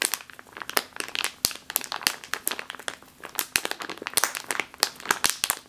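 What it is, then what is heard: Plastic bag of flour. A full plastic bag of flour resting on a table is scratched and squeezed with long nails. It makes a steady run of bright, crisp crinkling broken by sharp, dry clicks and snaps. The sound has almost no low end, and each tap dies away instantly.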